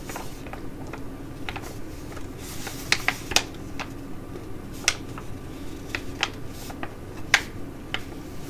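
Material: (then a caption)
Foil laminate. A filled tea-tree sheet mask pouch in glossy foil laminate is held in both hands and crinkled while long nails tap on it. A soft, steady crinkling rustle runs throughout, broken by short, sharp, bright clicks from the nail taps that die away almost instantly.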